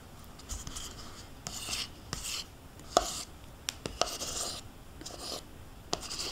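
A metal spoon scrapes the inside wall of a small, hollow, nearly empty plastic yogurt cup held tilted in one hand. Bright, rasping scrapes alternate with sharp, short clicks as the spoon knocks against the plastic.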